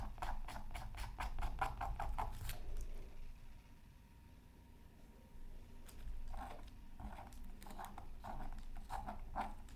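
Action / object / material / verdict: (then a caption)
scrape / coated paper scratch art card scratched with a bamboo stick / coated paper / none. A bamboo stick scratches lines into the coating of a thin, solid, flat black-coated scratch art paper card. Quick, rhythmic scratchy strokes run for about three seconds, give way to a quiet pause with low background rumble, then resume as a series of short, sharp scrapes to the end.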